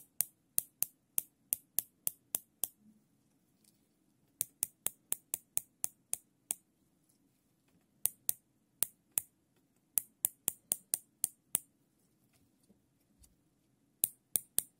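Gloved fingers ratchet a wide black nylon zip tie's serrated strap through its locking head, making 33 sharp, bright plastic clicks in quick bursts separated by short pauses. Each click is dry and stops almost at once over a faint low background hum.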